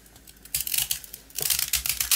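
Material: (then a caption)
Baked biscuit. A small, round, crunchy rusk, its coating mostly removed and the dry biscuit left solid, is scraped and shaved with a box cutter blade so crumbs fall. After a quiet start, bursts of dry, bright scratching and crackling come in from about half a second, pause briefly, then return in quick, rasping strokes until the end.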